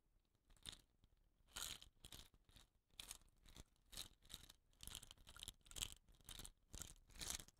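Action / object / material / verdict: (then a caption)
scrape / bamboo rain stick / bamboo / none. Fingertips scratch and rub the surface and rattan-capped ends of a hollow, dot-painted bamboo rain stick while rolling it. The result is a series of short, dry, crunchy scratching bursts, bright and hissy with little low end, arriving at an uneven pace with quiet gaps between them.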